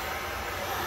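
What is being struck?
Nothing is struck.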